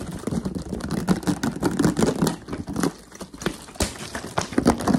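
A clear, hollow, crumpled plastic water bottle, apparently empty or nearly so, is held up while fingertips tap and scratch very fast along its ridged sides and squeeze it. The result is a dense, chaotic stream of crinkling clicks and scratchy rasps with a hollow, low-mid body, easing briefly around the middle before building back up.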